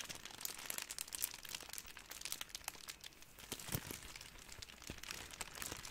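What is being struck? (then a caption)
Ball of thin plastic cling wrap. A ball of clear, thin, crumpled plastic cling wrap is squeezed and crinkled with both hands. It makes a steady run of dense, bright crackles and sharp little snaps, mostly in the high range with little low end, and each crackle dies away almost instantly.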